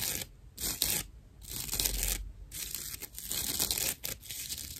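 Long nails scratch a dry natural loofah sponge, a fibrous plant-material pad held flat in one hand. The result is rough, bright, rasping bursts of scratching that start and stop in uneven strokes, with a faint low rumble underneath.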